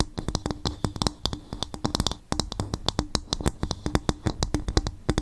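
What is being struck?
Coconut shell bowl.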